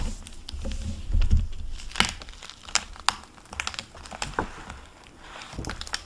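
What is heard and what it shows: A hardcover library book in a plastic-covered paper dust jacket lies on a wooden table as fingertips with painted nails open the cover and turn the paper pages. The plastic jacket crinkles, with sharp, bright clicks and rustles over a low, muffled rumble of handling.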